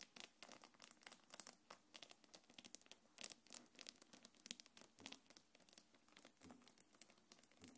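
A small black quilted faux-leather belt bag with gold metal chains is held up while long nails scratch across the leather and drag over the chains. Quiet, bright scratching and crinkling come in quick, irregular bursts, with light metallic clicks and no low rumble.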